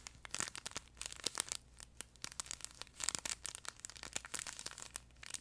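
Fingertips and nails scratch and squeeze a flat yellow plush duck pet toy, soft fabric over a crinkle insert, close to the mic. Bright, dry crinkles and crackles come in quick, uneven bursts, with brief quiet gaps between the louder squeezes.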